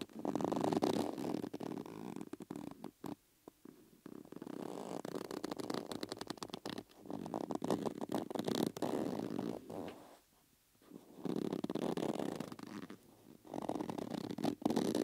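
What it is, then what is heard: Rubber bellows with metal rims. A thumb and fingers rub and pull the inner surface of a hollow yellow rubber bellows with metal rims. This produces continuous squeaky, rumbling friction sounds with a purr-like drone around 300 Hz, interrupted by brief quiet pauses.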